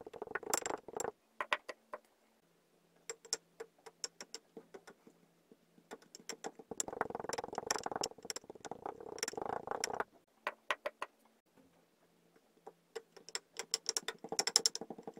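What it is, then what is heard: Kinetic sand pressed in a glass. Kinetic sand in a clear glass tumbler holds layered sand; a purple cube is dropped in and pressed flat with a pink wooden muddler, then red sand is added and tamped. Bursts of soft, bright crunching and crackling patter come and go, with two long dense stretches in the middle and quiet gaps with a faint low hum between them.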